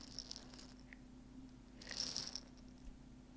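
A clear glass jar with a white plastic lid, partly full of dry popcorn kernels, is tilted and shaken in both hands so the kernels shift inside. Soft, bright rattling patters through the clip over a faint steady low hum, then swells into a louder burst of crisp rattling near the two-second mark before settling back to quiet shuffling.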